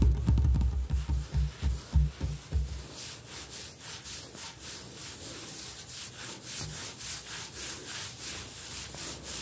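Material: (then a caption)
Granite. Both hands rapidly tap a large, solid, speckled granite-look kitchen countertop with short-nailed fingertips. The first few seconds carry deep, dull thumps, then the tapping turns into a fast, steady stream of bright, crisp clicks.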